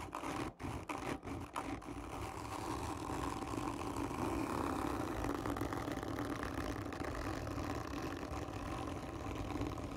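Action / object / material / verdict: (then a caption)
scrape / cardboard tube / cardboard / none. Long fingernails scratch hard and slow across the surface of a hollow, black, textured cardboard gift tube. A few brief breaks in the first two seconds give way to a continuous, dense, raspy scraping that sits mostly in the low-mid range, with a hollow, papery body and little high brightness.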